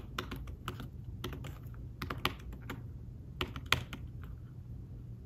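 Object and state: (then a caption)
Fabric-covered tablet keyboard. Fingertips tap the keys of a thin fabric-covered tablet keyboard case while typing. Short, soft, bright clicks come at an uneven pace, with a few sharper taps standing out. A steady low background rumble sits underneath.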